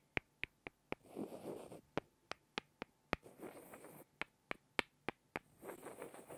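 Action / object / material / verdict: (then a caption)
tap / small wooden blocks / wood / none. Two small, solid light-wood blocks are tapped together by hand, giving over a dozen crisp, dry clicks with a bright tone and almost no ring. Between the taps come three softer, scratchy rubbing passages, all at a quiet, close level.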